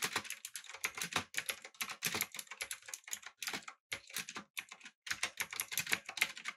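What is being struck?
Mechanical keyboard with metal body and round plastic keycaps.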